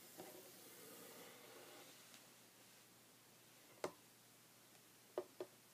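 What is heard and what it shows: Short red fingernails lightly scratch a flat, solid, light wooden tabletop, making a soft, airy hiss for the first two seconds. Then they tap the wood four times, each a quick, dry knock that dies away almost at once, with the last two close together.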